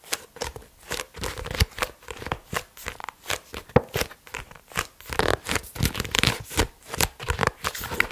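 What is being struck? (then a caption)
Paperback book with paper pages. Fingertips and nails tap and scratch the cover and page edges of a medium-size pink softcover paperback book, *Annales de Comptabilité Analytique*, a solid stack of paper pages held in both hands. The result is a steady run of short, dry taps with papery scratching between them and almost no ring, spread from a low thump to a bright crisp edge.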